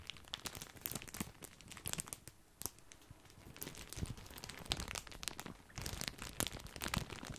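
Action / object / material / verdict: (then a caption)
scrape / plastic bag of breadsticks / plastic / none. Fingertips crinkle a large, full, white printed plastic bag of grissini breadsticks. Dense bright crackles and crunches come in uneven bursts, with a quieter stretch in the middle before the crinkling picks up again.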